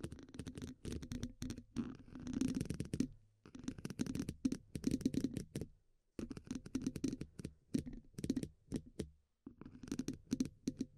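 The hollow steel mesh grille of a dynamic microphone is scratched and tapped with the tips of two wooden pencils. Quick bursts of scraping and tapping come in clusters separated by brief pauses. A hollow, low-mid resonance sits around 260 Hz beneath a bright, crackly texture.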